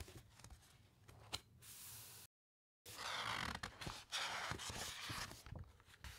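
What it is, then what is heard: Thick paper pages rubbed and turned. Fingertips and long nails rub across the thick paper pages of an open hardcover encyclopaedia, then a page is turned. Soft, bright scratching and swishing fills the clip, broken by a half-second gap of silence before louder, rustling strokes resume.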